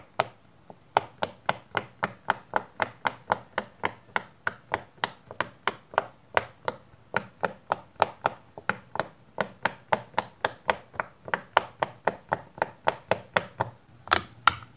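Fingertips press and pop the hollow bubbles of a round, palm-sized pink silicone pop-it fidget toy with a central hole, lying flat on a white surface. About 48 quick, soft pops and taps come in a steady run, each a short, bright click that dies away almost instantly. The last couple of pops near the end are a little louder.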